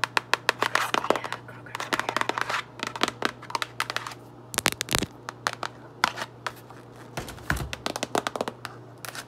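Long acrylic nails tap and scratch across the top and front of a medium-sized printed cardboard Kroger Tall Kitchen drawstring trash bag box full of rolled plastic bags. The result is a rapid, irregular stream of sharp, dry clicks and papery scrapes with bright crinkly texture and almost no ring, over a faint steady low hum.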